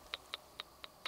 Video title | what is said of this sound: Sofirn SP31V2 Flashlight review with discount code | the battery that that comes with it it just has like a half a millimeter of play in there in the tube and that's that little sound you're hearing